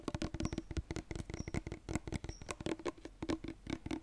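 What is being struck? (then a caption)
Plastic lotion bottle with pump cap. A medium-sized white cosmetic lotion bottle with a silver pump cap, likely plastic and of unknown fullness, is held in both hands and tapped and scratched with fingertips and nails. A rapid, uneven patter of short, dry, hollow taps with a low thud under them is heard, mixed with faint scratchy rasps. Each tap dies away almost at once.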